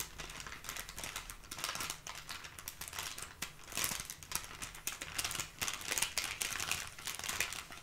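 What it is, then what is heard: Paper bag. A small brown kraft paper bag with a sticker seal and items inside is held flat and scratched and tapped with long painted nails. A dense, bright crinkling and scratching rustle runs throughout, broken by quick, dry taps that fade almost instantly.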